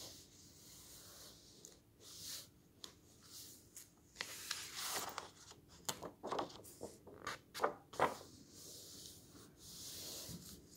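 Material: Paper.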